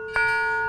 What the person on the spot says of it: you hit it with a metal or a stone so it will ring up to Home